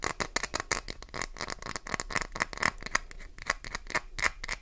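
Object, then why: Glycerin soap bar. Long nails rapidly tap and scratch the edge of a solid, translucent green glycerin soap bar, sending soap shavings flying. A fast run of short, dry clicks and scrapes follows, bright with a ringing tone near 1.9 kHz, each dying away almost instantly.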